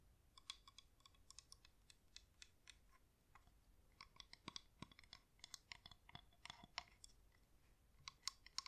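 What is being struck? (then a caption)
Wax-coated plastic flameless candle. Long acrylic nails tap the side and rim of a cream, hand-sized, pillar-shaped LED flameless candle held in both hands; it has a real wax outer layer over a hollow plastic battery housing. The result is a quiet, rapid, irregular series of short, dry, bright clicks and ticks that stop instantly with no ring.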